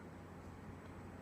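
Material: Nothing is struck.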